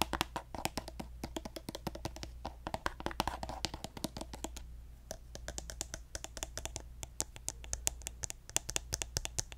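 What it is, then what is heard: Plastic lotion bottle. Fingernails tap rapidly on the body and gold plastic cap of a hand-sized pink plastic lotion bottle held sideways. The result is a steady stream of short, sharp, bright clicks with almost no ring, over a faint low hum.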